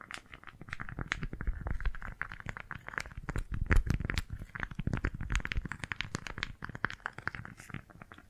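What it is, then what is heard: Beeswax-coated fabric food wrap. A small pink floral beeswax-coated fabric food wrap is cupped and scrunched in both hands, then gripped and crinkled with fingertips and long nails. A steady stream of quick, dry crinkles and crackles layers sharp bright ticks over a soft, muffled low rustle that swells and eases throughout.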